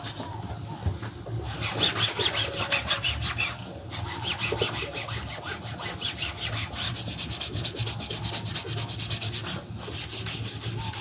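A shoeshiner buffs the toe of a black leather Dr. Martens boot on a shoeshine stand, working a cloth held in both hands in a back-and-forth rubbing, sawing motion. Quick, rhythmic swishing strokes, about three per second, produce a bright, hissy friction sound over a low hum. The strokes briefly soften or pause near 1.5, 3.8 and 9.7 seconds before resuming.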